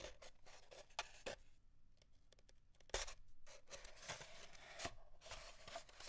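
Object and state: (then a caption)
Empty cardboard tube. Fingernails scratch along the length of an empty, hollow cardboard paper towel tube lying on a desk under both hands, working near one end. The result is a dry, raspy scratching with bright hiss and quick sharp ticks, interspersed with brief quieter gaps. A faint hollow resonance around 540 Hz rings through the strokes.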